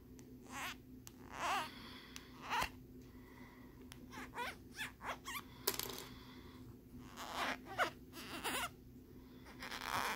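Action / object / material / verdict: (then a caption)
scrape / plastic lenticular phone case / plastic / none. Short fingernails scratch the ridged surface of a small hard plastic phone case with a lenticular peace-sign print, held flat on a wooden board. Quiet, bright raspy strokes come in short bursts separated by pauses, some with a squeaky, chirping edge, over a faint steady low hum.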